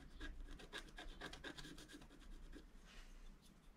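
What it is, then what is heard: Scratch art paper being scratched. A wooden stylus scratches thin lines into the black coating of a flat scratch art paper sheet. Quiet, quick, uneven strokes make a dry, bright rasping scratch over a low background hum. The strokes thin out after about 2.6 seconds, ending in a softer, airy scrape.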